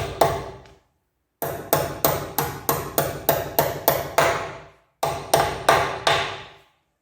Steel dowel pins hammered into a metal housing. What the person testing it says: as you can hear they're bottomed out but they're still sticking out probably about eight or nine mil